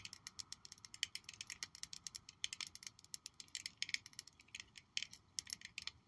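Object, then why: Small glass perfume bottle. A small purple glass perfume bottle with a gold-toned cap is held in the hands and tapped and scratched along its faces with long nails. The result is a rapid, irregular run of crisp, bright clicks and ticks with almost no low end, each dying away almost instantly, mixed with faint scratchy rasps between the taps.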